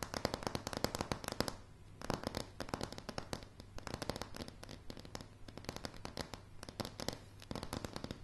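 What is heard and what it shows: Long, dark, polished nails on both hands tap fast on solid, light pine floorboards. The result is a dense, crackling stream of sharp clicks over a low woody thump, each tap dying away almost instantly. The tapping eases briefly around the two-second mark, then keeps a steady rapid patter to the end.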